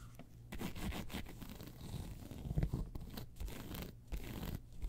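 Long pointed nails scratch across a round, hollow, tan crocodile-embossed faux leather handbag. The result is quiet, dry rasping strokes in uneven bursts, with most of the energy low and a faint bright edge that dies away almost instantly.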